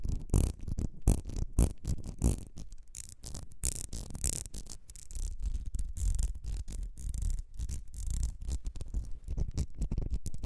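Long red nails scratch and tap the ribbed glass of a small perfume bottle with a gold metal cap, held in the hands. Rapid, uneven scratching and clicking taps run through the whole clip, mostly low and muffled with brief brighter bursts. Each tap dies away almost instantly.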